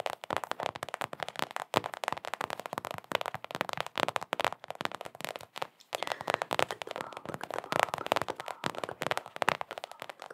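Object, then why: Small rubber basketball. A small, hollow Knicks mini rubber basketball is tapped and scratched with long acrylic nails. Rapid, dense clicking taps and scratchy crackles run throughout, centered in the midrange with almost no low end and each tap dying out instantly.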